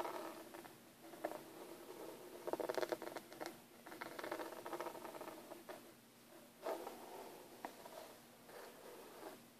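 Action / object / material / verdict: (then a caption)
tap / hard plastic carrying case / plastic / none. Fingertips and short nails tap and scratch the lid of a closed, hollow, hand-sized black textured hard plastic Hi-Line airbrush kit case lying flat. Quiet, dry scratching and soft patter run throughout, broken by short hollow taps with a faint boxy tone around 350 Hz. The sounds die away almost instantly.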